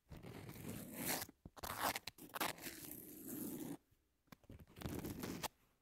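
Long natural nails on both hands scratch and tap the gritty surface of a flat pink double-sided emery board, about 18 cm long, with abrasive grit over a thin foam or card core, lying on a textured white cloth. Dry, crunchy scraping comes in bursts, with sharper taps mixed in. A brief near-silent pause falls just before the fourth second, then the scratching resumes.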